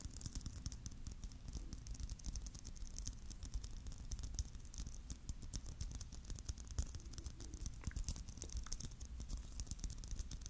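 Fingernails tap rapidly on the surface of a palm-sized, hollow, clear plastic Christmas bauble filled with glitter and sequins. The result is a dense, continuous patter of quick, bright clicks over a steady low rumble.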